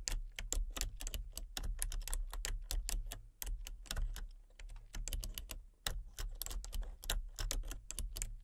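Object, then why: Plastic membrane computer keyboard. Fingertips with short painted nails rapidly tap the keys of a full-size plastic membrane computer keyboard with a hollow casing and colour-changing backlight. The result is a quick stream of short, bright, dry clicks with uneven rhythm and brief pauses, over a steady low hum.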